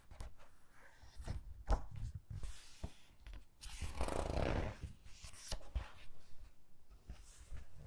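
Long-nailed fingertips rub over the text pages of an open hardcover book with glossy paper and flip its pages. Soft scratchy brushing and dull low thumps are heard, with a louder, brighter papery swish near the middle as a page turns, in a quiet, close setting.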